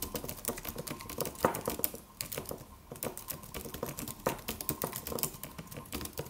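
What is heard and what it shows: A slim silver aluminum computer keyboard with white plastic keys and a solid low-profile body is typed on by the fingertips of both hands. It produces a steady, quick patter of short, dry clicks that fade almost instantly, with a few louder keystrokes standing out and a brief quieter pause around the two-second mark.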